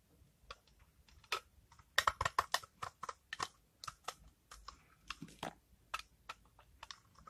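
A utility knife blade scrapes repeatedly across a palm-sized bar of dried, rancid cream soap with a brown rind, held in the hand, as dry shavings fall onto a pile. Each pass makes a short, crisp, bright scratch that dies away almost at once. The scrapes come in irregular quick bursts, loudest around the middle.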